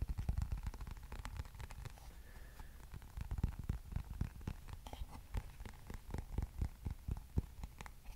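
Fingertips scratch and tap the solid back and bristle face of a black plastic hairbrush. Quiet, irregular taps and scratches follow one another quickly, each short and dull with a soft low thud and a faint dry rasp.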